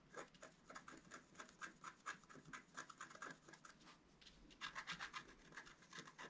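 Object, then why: Wax-coated scratch-art paper card. The pointed tip of a thin wooden stylus scratches a flat black scratch-art card, a wax coating over a colored layer, lying on a table while the other hand holds it still. Quick, irregular, dry rasping strokes come about four per second, each a short bright scrape with no ring. After a brief softer lull near the middle, the strokes resume louder and denser.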